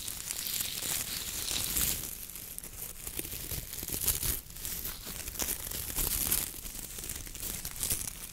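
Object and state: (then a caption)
Coconut fiber wok brush. Gloved fingers scratch and squeeze the stiff coir-bristle head of a coconut fiber wok brush with a wooden handle. The result is a dense, bright, crackling scratch with a tearing, crinkling texture that swells and eases in waves, with a low rumble underneath.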